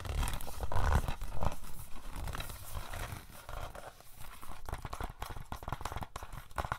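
A hollow plastic DVD case for The Fog, with stickers on its sleeve, is held up and tapped and scratched with fingernails. The clip is a loose, uneven run of quick, dull, hollow taps mixed with scratchy crinkling. Each tap dies away quickly, with most of the sound's energy deep and low.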